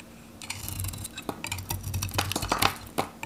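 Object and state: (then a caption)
Dry soap bar being cut. A metal knife cuts and shaves slices from a handheld, solid, varnished dry Godrej No.1 soap bar, orange-red with a pale interior. Irregular dry crunches and scraping strokes bring short, bright crackles over a low rumble, each cut dying away almost at once.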